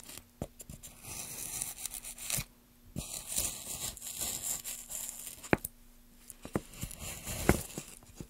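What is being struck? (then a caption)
Wooden plank carved with a metal gouge. Gloved hands carve a solid, light wooden plank with a metal gouge, scraping off shavings. Rough, tearing scrapes come in uneven bursts with a few sharp, bright clicks and short quiet pauses between strokes.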